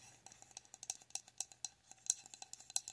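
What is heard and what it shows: A medium pink frosted glass jar with a lit wax candle inside, held in both hands, is tapped with long nails. About 18 quick, bright clicks sound in an uneven rhythm, each dying away almost at once with no lingering ring.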